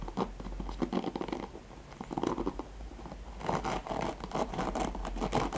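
Fingertips and nails scratch across the nylon pin bristles and plastic back of a handheld black oval plastic paddle hairbrush. The result is a dense, crackly rasping of rapid scratchy strokes that eases off briefly in the middle, then returns louder and brighter until the end.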